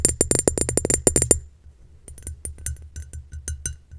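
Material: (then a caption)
Glass. Long nails tap a round, clear, bowl-shaped glass vase that is hollow, empty and held in hand. A fast run of sharp, bright clinks with a high glassy ring comes first, then softer, scattered taps over a low background rumble. Each tap dies away almost at once.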